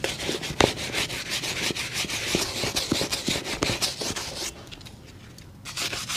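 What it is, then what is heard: Leather shoe being scrubbed with a brush. A black leather work shoe, hollow and empty and covered in white soap foam, is held upright in one hand and scrubbed with a small brush held in the other. Quick, bright, scratchy bristle strokes rasp over the wet leather at an uneven pace. They fade into a soft lull near the end before the scrubbing picks up again.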